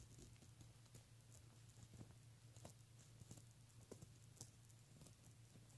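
Fingertips with short nails scratch and tap along the ribbed fabric of a beige pleated satin clutch bag with stitched ridges, lying flat and closed. Quiet, dry scratching and brief taps with bright edges sit over a steady low hum.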